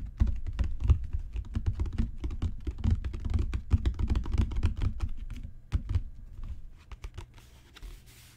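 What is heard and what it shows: Fingertips and long natural nails tap on a solid, dark brown genuine leather book cover with raised spine bands. The taps come as a fast, irregular patter of soft, dull, low thuds with short clicky edges and almost no ring. They thin out and grow quieter toward the end.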